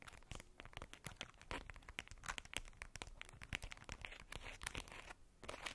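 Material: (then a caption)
Tissue paper. A polka-dot tissue paper wrapped ball is squeezed and scratched with long nails, crinkling the paper. A quiet, dense run of dry, bright crackles and rustles fills the clip, with sharp snaps that die away almost instantly.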